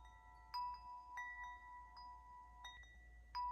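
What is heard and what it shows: A hand-held metal tube wind chime is struck and shaken by hand, knocking its hollow tubes against the clapper. Several bright metallic strikes sound, each leaving clear, sustained tones centered near 1 kHz that overlap and ring on.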